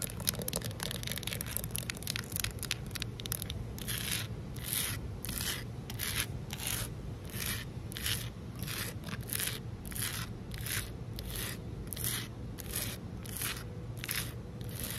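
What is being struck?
Concrete ledge.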